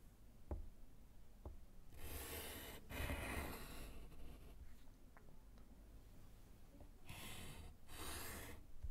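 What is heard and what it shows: A gloved hand writes with yellow chalk on a small, flat, solid slate chalkboard in a wooden frame. A couple of soft taps come first, then four bursts of bright, gritty scratching and rubbing as the chalk is drawn across the board, with quieter pauses between them.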